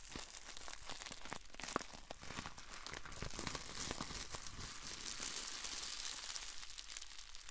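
Crumpled clear plastic bubble wrap is held in the fingers and squeezed, giving a steady, soft crinkling with many quick, sharp crackles scattered throughout. The sound is bright and hissy up high, with short snaps that die away almost at once and stay at a fairly even, quiet level across the clip.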